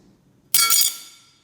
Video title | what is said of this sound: APPLE CREDIT CARD UNBOXING, REVIEW, COMPARISON | Okay, this actually sounds like metal.